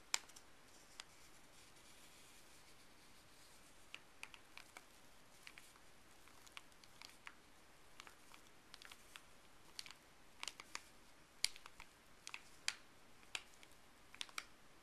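A small, thin white Colgate paper wrapper is held between fleece-gloved fingers and flexed. This produces a steady run of sharp, bright crinkles and crackles over a faint background hiss, with the sharpest snaps clustered in the second half.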